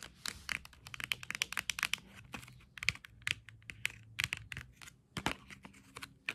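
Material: Cardboard.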